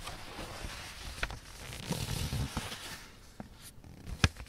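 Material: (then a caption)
Paper. Fingertips and nails rub along the folds of a thin, light blue origami paper sheet folded into a triangle on a black surface, creasing the paper and then lifting a flap. A soft, steady papery rustle runs throughout, with a denser scratchy patch in the middle, punctuated by about five short, crisp ticks that end sharply with no ring.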